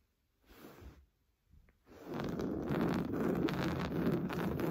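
Short blue-painted nails scratch fast across a large, soft, stuffed beige woven-fabric sofa cushion. A brief scratching burst and a faint scrape are followed by continuous, louder rustling scratches. The sound is dense and low-to-mid in tone, with a faint high hiss.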